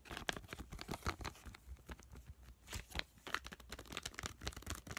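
A full, small blue seaweed-print sheet mask packet made of crinkly foil/plastic laminate is squeezed and tapped with fingertips and short nails. Dense, bright crinkling and crackling mixes with quick, sharp taps and soft low thumps. The sounds come in uneven bursts that stop almost instantly, with no ring.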